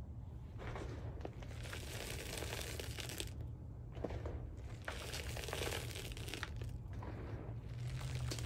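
Handfuls of white SPRI gym chalk (magnesium carbonate) powder are scooped from a pile in a black dish and crushed, with fingertips pressing and crumbling the powder. Dense, bright crunching and crinkling comes in waves of crumbling bursts over a steady low rumble.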